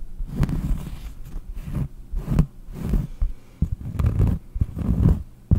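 Long painted nails scratch the textured surface of a large, round, solid cork trivet held in front of the mic. The result is a series of dull, muffled scraping bursts with a deep low rumble and almost no bright content, each one stopping dead without ringing.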